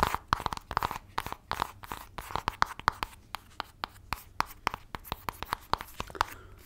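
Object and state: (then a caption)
Cardboard palette box. A flat black LORAC makeup palette box, likely cardboard, is held upright and then laid flat while long nails scratch and tap it close to the microphone. A fast, irregular run of sharp, dry taps cuts through soft papery scratching, with the tone centred near 1 kHz and each tap stopping instantly with no ring.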